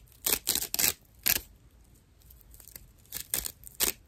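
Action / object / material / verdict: scrape / natural loofah sponge / plant fibre / none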